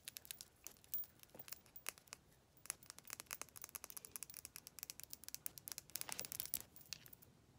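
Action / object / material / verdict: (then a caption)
tap / plastic lip gloss tube / plastic / none. A slim pink plastic lip gloss tube, held upright, is tapped and scratched with long pastel nails. Rapid, dense bright clicks mix with crisp scratchy rustling, all quiet, high-pitched and with almost no low end. Each tap stops dead with no ring.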